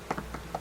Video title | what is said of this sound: Nimrod Workman's bees | listen how this sounds hollow down here